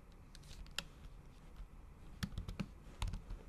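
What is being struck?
Laptop keyboard with thin plastic cover.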